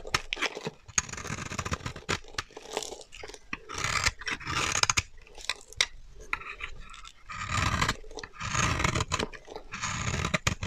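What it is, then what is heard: Dry bar soap being scraped. A solid, dry, translucent orange bar of soap held in the hand is scraped with a metal utility knife blade, shaving off fine crumbs. Bursts of bright, crunchy scraping come in rough, gritty strokes, separated by short quieter pauses.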